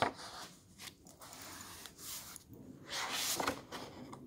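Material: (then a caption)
Paper. Fingertips and a flat hand rub across the illustrated paper pages of an open hardcover book and turn them. Soft, bright papery rustles and brushing scrapes come in uneven bursts, with a few louder swishes as the pages turn.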